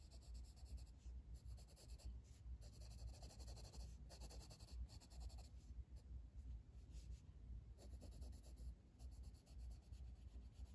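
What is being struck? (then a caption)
Wooden colored pencil on a paper page. A blue wooden colored pencil, held in the fingers, is rubbed in shading strokes across a flat paper coloring book page resting on a table. Soft, continuous scratchy strokes repeat steadily over a low, quiet rumble, with faint bright hiss on each pass.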